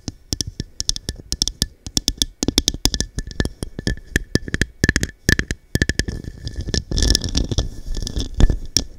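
Long dark nails tap and scratch the textured surface of a small, hollow, empty diamond-cut glass cup turned upside down over the microphone. Rapid, sharp clicks with deep thumpy lows and bright high edges ring faintly around 1.8 kHz. Toward the end, denser scratching builds into a rougher, continuous hiss between the taps.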